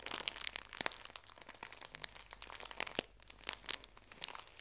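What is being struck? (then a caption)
Pocket tissue pack in thin plastic wrap. A small, full pocket tissue pack in thin plastic wrap is pressed and crinkled by fingertips and nails. The result is a quiet, continuous stream of crisp, bright crackles and sharp snaps with almost no low end, each dying away instantly.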